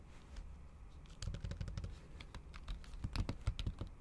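Long acrylic nail tips tap quickly and repeatedly on a MacBook keyboard covered by a thin pink patterned plastic or silicone cover over solid keys. The result is a fast run of short, crisp clicks with bright ticking edges over a soft, steady low rumble, and the taps grow slightly louder and denser toward the end.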